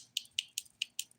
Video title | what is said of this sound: The Daily Nail: Pink & Green St. Patrick's Day Dip Nails ft. Luxie Nail #Nails #dipnails #diynails | you hear like a hollow sound that doesn't even sound that Hollow to be honest these ones sound good